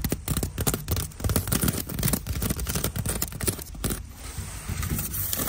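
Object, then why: Woven seagrass basket. Fingertips and long nails scratch along the braided strands of a hollow, rectangular woven seagrass storage basket sitting on a store shelf. The result is a continuous, irregular rustling scrape with quick, uneven strokes, and most of its energy sits in a low, hollow-sounding range.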